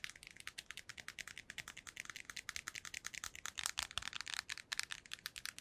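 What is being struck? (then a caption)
Hard plastic earbuds charging case. A small, hollow, white hard-plastic earbuds charging case is held in both hands and tapped rapidly with long nails. About 41 quick, crisp clicks sound in a steady stream, bright and thin with almost no low end, each dying away instantly. The overall level is soft.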